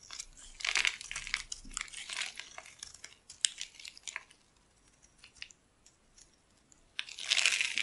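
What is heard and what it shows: A metal blade carves a solid dry cream bar soap with a pink outer layer, held in the palm, scratching and cutting it into white curls. Crisp, bright scraping and crinkling bursts come in quick runs, fall to a quiet stretch with a few faint scratches, then return as one louder, sustained scrape at the end.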